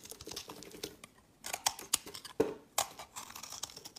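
A knife blade scrapes crumbly shavings off a solid, hand-sized tan olive soap bar held in the hand. The result is a series of dry, crisp scrapes and crackles, bright with almost no low end, with a brief quiet pause near the start before sharper strokes resume.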